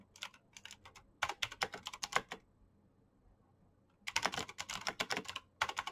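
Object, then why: Plastic mechanical keyboard. Fingertips fast-type on a black plastic mechanical keyboard with clicky green switches and backlit keycaps, making rapid, bright, sharp clicks that stop almost instantly. Soft typing gives way to louder bursts, then a pause of over a second. A dense run of keystrokes and a final short flurry follow.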